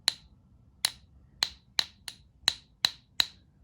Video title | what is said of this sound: Gold Plated Tungsten Maple and the No-ping Gold Maples - coin ping test | I'm going to tap it and listen to this. It makes absolutely zero sound.